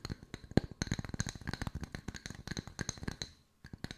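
Long white nails tap rapidly on two solid round wooden slice coasters. The dry, woody taps have a low knock and a faint bright click, and each dies away almost instantly. A steady irregular patter runs on, then stops briefly before a few final taps.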